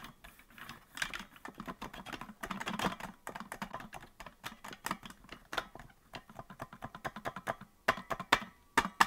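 Fingertips tap the plastic keys of a hollow green plastic melodica that is not being blown, producing quick, dry clicks. About 35 clicks come in an irregular, typing-like patter with short, tight decays.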